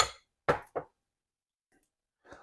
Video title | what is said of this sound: Ali express CarPlay double din headunit under $30 | it almost sounds like plastic